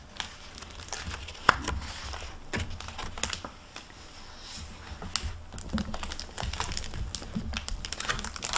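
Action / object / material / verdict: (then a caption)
scrape / hardcover book with plastic-covered paper dust jacket / paper, plastic / none. Hands fan and turn the paper pages of a hardcover library book on a table, then close it in its plastic-covered paper dust jacket. Soft, steady rustling and crinkling fill the clip, with one sharp snap standing out early and quick dry ticks throughout.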